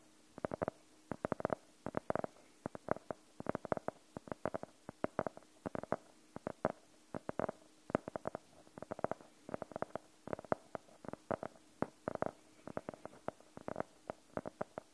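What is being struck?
Faux-leather hardcover notebook.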